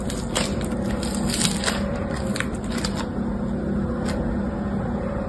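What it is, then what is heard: Crunchy floam slime with foam beads. Fingertips with short painted nails squeeze, crush and knead a hand-sized lump of crunchy floam (slime packed with small yellow and green foam beads), solid and pliable and held in both hands over a striped cloth. A steady, dense crackling crunch runs throughout, with brief bright pops rising above a low, muffled squishing.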